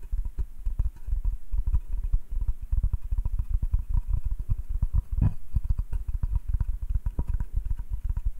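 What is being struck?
Hardwood cutting board.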